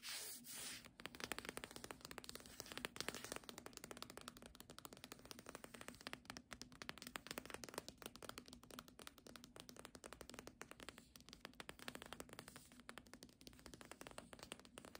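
Long nails tap rapidly on the spine of a solid book, "Doggerel," with a paper dust jacket, held sideways. A dense, continuous stream of quiet, dry, bright clicks runs throughout over a faint steady low hum.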